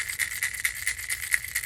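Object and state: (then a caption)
Fishing lure with a single-knocker rattle. A well-chewed plastic Lucky Craft wake bait crankbait is shaken, and the knocker rattle inside clicks in a rapid series of short, dry knocks with a bright tone near 2 kHz and almost no low end. The knock is nice and very subtle.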